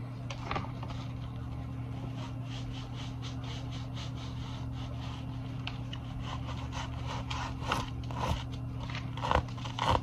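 A small soft pouch covered in iridescent multicolor plastic sequins on fabric is held close and rubbed and scratched with fingers and nails, flipping the sequins. Soft, uneven scratchy rustling runs over a steady low hum, with brief crisp, bright scrapes growing louder toward the end.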